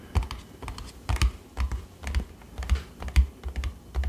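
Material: Cardboard.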